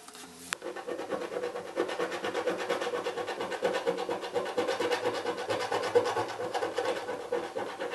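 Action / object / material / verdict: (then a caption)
scrape / small cardboard box with scratch-off foil patch / cardboard / none. A fingernail or coin scratches the last grey foil patch of scratch-off film on the right side of the lid of a small hollow cardboard box. After a soft opening and a brief sharp click, a dense, rapid, uneven rasping scratch runs steadily to the end, with a hollow papery tone around 500 Hz and a bright, gritty edge.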